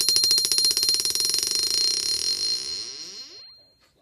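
A steel ball bearing dropped 10 inches onto the face of a Princess Auto 22 lb cast steel anvil bounces back to about 8 to 8.5 inches, marking the anvil as a good, hard one. A rapid series of bright metallic pings quickens as the bounces shrink, over a steady high ring. The sound fades out after about three and a half seconds.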